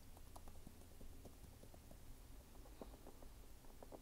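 Fingernails scratch and tap the brown waffle rubber outsole of a red sneaker up close, giving a quiet, steady run of soft, dull clicks and scraping patter. The sound is mostly low and muffled, with brief brighter ticks scattered throughout.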